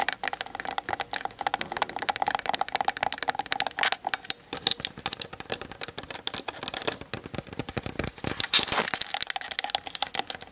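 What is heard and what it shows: Long nails tap quickly on the sides and top of a Canon DSLR camera's hollow plastic body as it sits on a tripod, picked up by the camera's built-in mic. The result is a fast, steady stream of sharp, bright clicks that die away almost instantly, with very little low end.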